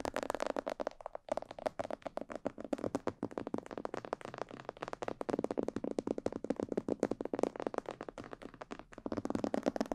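Fingertips and long nails tap on the sides and ears of a hollow, glossy black plastic mannequin head microphone. Rapid, dense streams of short, dry clicks and taps sit mostly in the midrange, with a brief lull just after the first second. The tapping carries on steadily at a soft level throughout.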